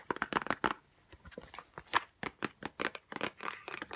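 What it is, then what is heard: Cardboard box. Long nails tap and scratch a small white Chanel No5 cardboard perfume box held close up. They make a quick run of light, dry clicks with scraping in between. Each hit dies away at once, and the sound sits in the mids with some bright edges.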